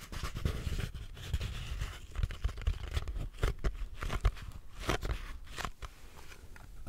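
A small, hollow purple cardboard gift box with a ribbon is held in both hands and tapped and scratched with long nails. Rapid, soft, hollow thumps run throughout, with dry, bright scratching bursts between them.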